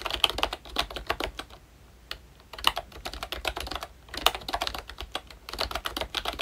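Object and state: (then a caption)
Plastic membrane keyboard. Both hands type with their fingertips on a pink plastic ROYCHE Disney Mickey Mouse retro membrane keyboard with round black keycaps. Quick, bright, dry clicks and taps come in bursts separated by short pauses. Each keystroke dies away almost instantly.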